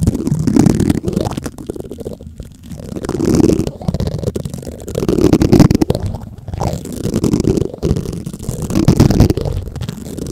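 White plastic spoons scratch across the black metal mesh grille of a large condenser microphone. The result is a close, muffled, rumbling scrape that sits mostly in the low range and swells and fades in repeated waves every couple of seconds, with dense crackling grit and almost no bright content.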